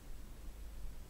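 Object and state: Nothing is struck.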